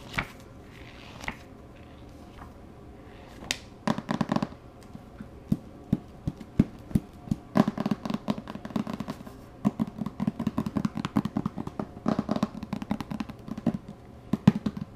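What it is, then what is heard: Hardcover book tapped and scratched. Fingertips tap and scratch the cover and page edges of a large, thick, solid hardcover book with paper pages held on the lap. Many short, dry taps with a low, woody body around 200 Hz and almost no ring come in scattered clicks and quick flurries. Soft scratching bursts fill the quiet gaps between them.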